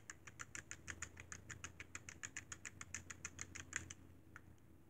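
Fingertips tap the d-pad and buttons of a hollow, silver-white plastic Sony PSP handheld game console. About 27 quick, dry, bright clicks follow one another in a rapid, slightly uneven run over a steady low hum, then one last lone tap after a short pause.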